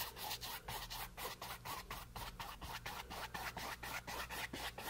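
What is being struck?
Bristle brush on painted canvas board.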